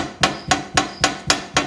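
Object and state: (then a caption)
Rattling metal tree stand, loose parts knocking. A folded metal Lone Wolf tree stand is shaken, and its seat and a bolt beneath the seat knock against the frame at several loose contact points. Six sharp, bright metallic clanks sound at a steady rhythm, each fading fast. It is the noisy rattle it makes while being carried into the woods.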